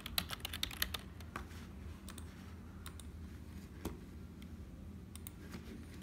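Fingertips type quickly on a black, hollow, full-size plastic HP keyboard, giving a dense burst of bright, sharp key clicks. The clicks then thin out to single keys pressed one at a time with one finger over a steady low background hum.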